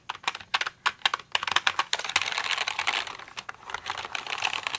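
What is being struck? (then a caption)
Plastic mechanical computer keyboard. A pink plastic mechanical computer keyboard, tilted toward the microphone at times, has its keys tapped with fingers and nails. Bright, sharp clicks start as separate taps, then run together into a fast, dense clatter that eases off near the end. Each click dies away almost instantly, with no low rumble beneath.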